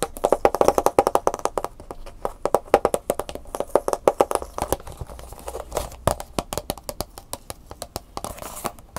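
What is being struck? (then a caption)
Clear plastic blister pack with cardboard insert. Long fingernails rapidly tap and scratch the back of a hand-sized, hollow clear plastic clamshell blister pack that holds an Angry Birds USB flash drive and a printed cardboard insert. The result is a dense run of short, dry, hollow plastic clicks centered in the midrange, with faint scratchy rustle between them and quick bursts of faster tapping.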